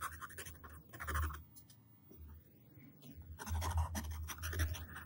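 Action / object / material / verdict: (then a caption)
scrape / wooden pencil on a paper sheet / paper / none. A yellow wooden pencil tip drags across a flat white paper sheet lying on a table, drawing lines and letters. Two bursts of dry, gritty scratching frame a quieter stretch in the middle, all over a steady low rumble.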